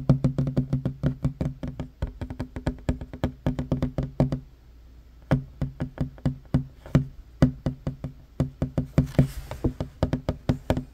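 Fast fingertip-and-short-nail tapping on a flat, solid wooden table top gives a rapid run of short, dry knocks with a low, woody body and almost no ring. The tapping pauses briefly just before the midpoint, then resumes at the same quick pace.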